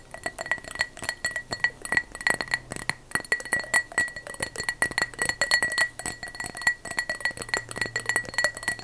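A glass object is tapped rapidly with long fake "witch" fingernails. The result is a dense run of short, bright clinks with a steady high ring near 2 kHz. There is no verdict on the glass's condition.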